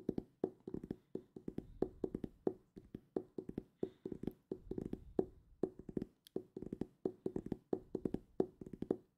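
Fingertips tap rapidly on the cover of a solid purple hardcover book held upright, making a quick, uneven rhythm of dull knocks. Each tap carries a hollow, woody tone around 375 Hz and dies away almost at once, with faint bright clicks on top.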